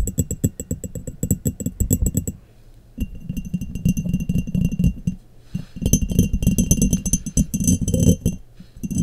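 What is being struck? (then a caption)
Glass mason jar. Long nails tap rapidly and irregularly on the bottom and sides of an embossed, clear glass mason jar that sits hollow and empty, upside down over a microphone. The taps make bright, short clinks over a hollow, low thudding resonance. The bursts come in several quick runs separated by brief, quieter pauses.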